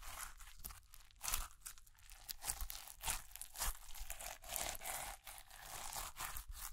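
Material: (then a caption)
Slime, plastic. A lump of pearl slime, clear slime full of white plastic beads, is held between both hands and squeezed and kneaded with fingertips and long nails. The beads give off a dense run of bright, crunchy crackles and crinkles. Louder bursts rise and fall as the slime is worked.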